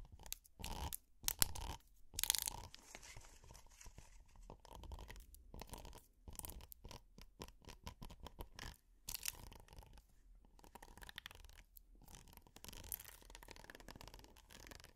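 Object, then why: Silicone pot holder scratched with plastic picks. Plastic finger picks scratch across the textured surface of a red hexagonal silicone pot holder. The result is quiet, dry, crunchy scratching in irregular bursts that are bright and rough, with a low rumbling underneath, and a few louder strokes early on.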